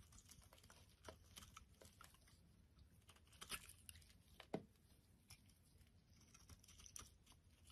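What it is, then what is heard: Bar soap being shaved. A solid oval orange bar of soap is held in the hand and shaved into flakes with a metal utility blade. Quick, soft scraping ticks patter along, with a few sharper, brighter cuts over a low background hum.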